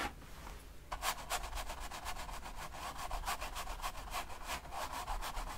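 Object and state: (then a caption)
Paint brush on stretched canvas. A flat paint brush rubs wet oil paint along the edge between red and black areas on a long rectangular stretched canvas lying on a table. After about a second of near silence, rapid back-and-forth strokes begin, making soft, dry, scratchy brushing bursts about three to four times per second, bright and hissy over a low rumble.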